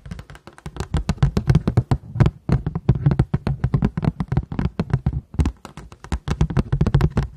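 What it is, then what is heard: Paper plate. A paper plate is tapped in a quick, steady run of soft, dull taps with brief pauses between bursts. Each tap is a short, low thud centered around the low-mid range that dies away almost instantly, with faint bright clicks on top.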